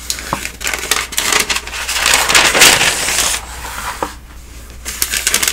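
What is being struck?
Thin newsprint pages of a thick telephone directory.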